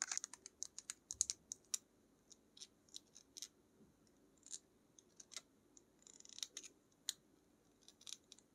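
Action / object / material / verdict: tap / plastic paint tube / plastic / none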